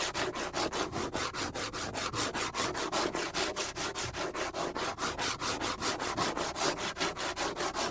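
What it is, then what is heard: Plastic cutting board. Fingernails rub and scratch rapidly back and forth across the flat, solid surface of a large, scratched black plastic cutting board. There are 38 quick, evenly paced strokes, about two and a half per second, each a dry, raspy scrape with a bright hiss and a faint midrange body. The strokes keep a steady, rhythmic scratching pulse for the whole clip.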